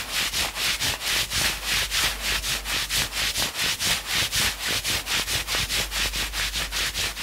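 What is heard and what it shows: Fingertips scratch fast along the maroon forearm sleeve of a worn knit sweatshirt. A steady run of quick, bright, dry scratching strokes fills the clip, each burst hissy and high with very little low end, repeating in a tight, even rhythm.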